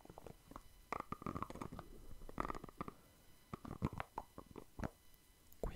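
Fingertips tap and scratch the white lid and body of a small plastic cosmetic cream jar close to the mic, making an irregular run of soft, dull, close-up taps. Brief scratchy rustles sit between the taps, and every hit dies away almost instantly.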